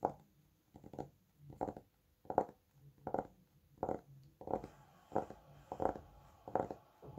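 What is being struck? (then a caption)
Thick paperback book with a glossy card cover. Fingertips tap the glossy cover of a thick, solid red Bescherelle paperback book in a steady run of soft, muffled bursts. Each burst is a short flurry of dull taps centered in the low mids around 500 Hz, with little deep or high content. The taps decay almost instantly between quiet gaps.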